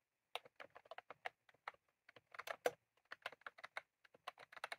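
Both hands type rapidly with their fingertips on a full-size, retro-style plastic mechanical keyboard with round cream plastic keycaps and a plastic case, resting on a desk. A quick, uneven run of short, crisp clicky keystrokes follows, each sharp tap dying away almost instantly with bright edges and no low thump.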